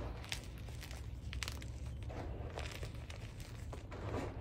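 Both hands dig into a pile of crumbled white SPRI gym chalk (magnesium carbonate) powder with small lumps in a black dish, crushing it with fingertips and nails. Quiet, dry crunching and crumbling crackles flicker with bright, short ticks over a steady low rumble throughout.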